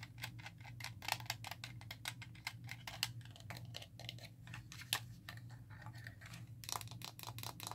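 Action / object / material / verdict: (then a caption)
tap / hand-sized plastic game controller / plastic / none. Long nails tap quickly across the buttons and shell of a hollow, hand-sized black GameCube-style plastic controller. Dozens of quick, bright plastic clicks die away almost instantly over a faint, steady low hum.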